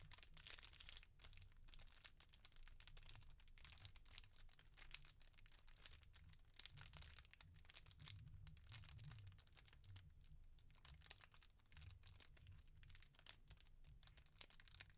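A small clear plastic bag holding a rainbow jewellery card is crinkled and rubbed between both hands with long nails. Dense, bright crackling and rustling runs throughout, over a steady low rumble and with no pauses.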